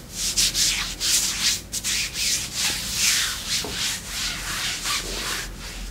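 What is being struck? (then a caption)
Faux leather leggings. Long pink nails on both hands scratch black glossy faux leather leggings stretched as a thin, soft layer over a raised thigh and knee. Steady, bright scratching and rubbing strokes swell and fade in uneven bursts, with almost no low end.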